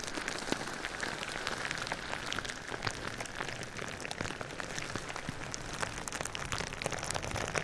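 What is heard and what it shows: Fingertips and nails tap and scratch across clear plastic bubble wrap wrapped around a hollow-form binaural microphone. The result is a dense, steady patter of crisp plastic clicks and crackles over a soft rustling hiss, bright in tone and much like rain on a surface, with occasional sharper taps standing out.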